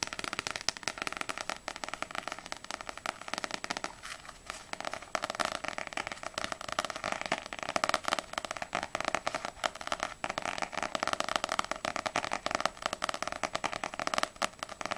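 Long nails tap quickly on the glossy paper front cover of a small, solid paperback manga book, Ousama Game volume 4, which is held tilted. The result is a dense, continuous stream of crisp, dry clicking taps with a bright edge and almost no low end, easing briefly around the four-second mark before picking back up.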